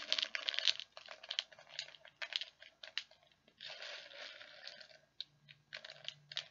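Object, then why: Small plastic beads in a plastic tub. Fingers dig into and stir many small plastic perler beads inside a clear plastic tub. Bright, dense clicking and crunchy rattling comes in bursts, with short pauses between stirs. The sound sits almost entirely in the high range, with no low end, and each click dies away almost instantly.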